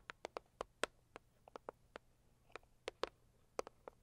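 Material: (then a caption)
Cardboard. Long purple acrylic nails tap and scratch the lid of a medium-sized, hollow, pink floral Saviland rigid cardboard box with unknown contents. Fifteen quiet, crisp clicks land in an uneven rhythm, each dying away almost instantly. They have a papery midrange knock around 600 Hz and a faint bright edge.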